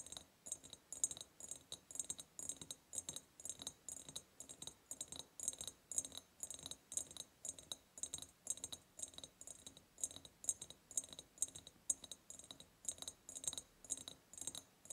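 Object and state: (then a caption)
Ribbed glass jar. Rapid tapping with long purple nails on the sides near the top of a large, hollow, ribbed clear glass jar. Bright, clicky taps with very short ring repeat in quick clusters throughout, with a high glassy sheen and almost no low end.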